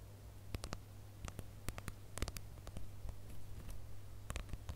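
Fingernails scratch and tap the rough glitter surface of a flat, hand-sized gold plastic star ornament coated in glitter, with a bow on top. Quick, sharp, bright clicks and ticks scatter irregularly over a faint scratchy rustle. A steady low hum runs underneath throughout.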